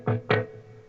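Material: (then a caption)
Wood. Two knocks on the front of a guitar body, each a hollow, resonant thud. Energy is mostly low, around 100 Hz, with a tone near 430 Hz, and each knock decays within a fraction of a second.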